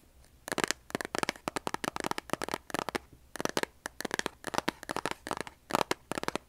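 A large, closed cardboard kitchen matchbox, likely full of matches, is held in both hands while long nails tap and scratch its printed cardboard sides. Quick bursts of dry, crisp clicks and scratchy rustles come in clusters with short pauses between them, each tap dying away almost instantly.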